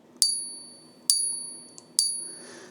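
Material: Silver.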